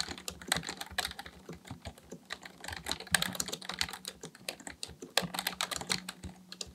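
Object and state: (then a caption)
Plastic computer keyboard. Both hands type steadily with their fingertips on a black plastic full-size computer keyboard resting on a desk. The plastic keys give a fast, continuous run of short, bright clicks and taps with almost no ring. A faint low hum sits beneath them, swelling at times.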